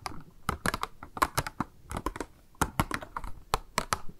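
Long acrylic nails tap and scratch all over a small translucent pink plastic cube box labelled "MAKE UP", held in both hands, with a pink round item inside the hollow box. The sound is a quick, uneven run of about 21 sharp, dry clicks with brief high scratchy ticks between them. Each click dies away almost instantly.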